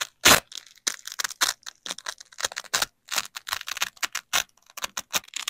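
A flexible yellow nylon hook strip is slowly bent and peeled away from a black loop strip of hook-and-loop fastener, held in black-gloved hands. It makes a series of short, crackling, bright tearing bursts with little low end. The loudest rip comes near the start, followed by many quicker, quieter crackles with brief pauses between them.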